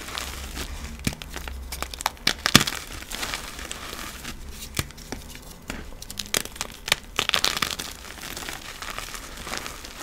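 Bare fingers with painted nails squeeze a small white solid block of dried cornstarch paste, reformed to be chalk-like, held over a tub of powder, crumbling it into powdery, crunchy pieces. Dense, bright crunching and crackling runs throughout, with short, sharp snaps and a few louder cracks along the way.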